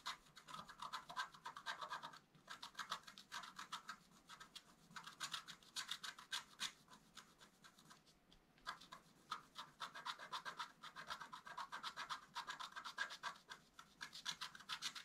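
A wooden stylus scratches a flat, black-coated scratch art paper card in fast, short strokes. It makes a quiet, dry, bright rasping that repeats rapidly and unevenly. Two brief pauses break the scratching, near the two- and eight-second marks.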